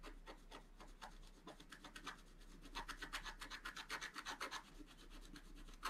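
A wooden stylus scratches a flat scratch art sheet, a black coating on paper, in small, rapid strokes. Quiet, dry rasping scrapes repeat about four times a second with a bright, gritty texture, growing louder and more distinct in the middle before easing off.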